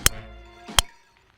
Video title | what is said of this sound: 2021 Callaway Epic Max LS Driver Review - Curated | It's a very strong impact sound.